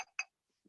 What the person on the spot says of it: I'll shake it up and down so you can hear it in there